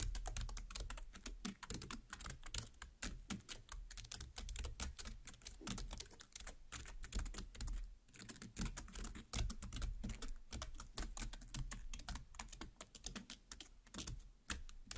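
Very long, pointed black nails tap and pierce the juicy red, seeded flesh of a large watermelon half lying cut face up. The result is a rapid, continuous stream of short, crisp clicks and soft wet taps over a low, thudding body. Each sound dies away almost instantly.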